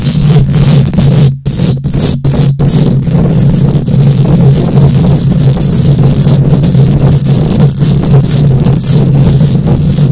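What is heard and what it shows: Long nails on both hands scratch quickly across a bare steel mesh microphone grille. The result is a dense, continuous, boomy scratching roar, heavy in the lows with a steady low drone, with a few brief dips in the first few seconds before it stays loud throughout.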